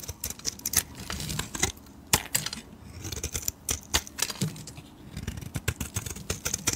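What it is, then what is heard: Bar of soap being shaved. A metal blade shaves and scrapes the surface of a solid pale bar of soap. A rapid, uneven series of short, crisp scraping clicks and ticks is heard, bright and dry with very little ring, over a faint low hiss between strokes.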